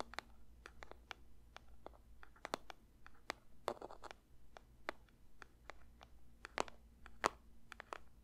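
Fingers lightly tap a paper box for ASMR, making a quick, uneven run of soft, dry taps with no ring. Each tap is a short, crisp click with some brightness, and a few land harder with a faint papery rustle. A low, steady hum sits quietly underneath.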